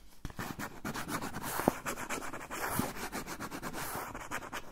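Fingernails scratch quickly along the edge and surface of a brown kraft paper pouch held upright. The result is a dense run of dry, raspy strokes with a papery, bright hiss and a few sharper crinkling accents.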